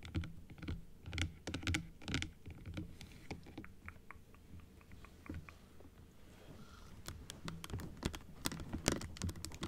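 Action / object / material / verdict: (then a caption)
tap / plastic dental jaw model / plastic / none. Long blue acrylic nails tap quickly on the plastic frame and teeth of a small hollow plastic dental jaw model held upright, then closed. The result is a stream of short, dry, bright clicks with a soft low thump underneath, in an irregular rhythm. The taps grow sparser and quieter in the middle, then come back denser and sharper toward the end.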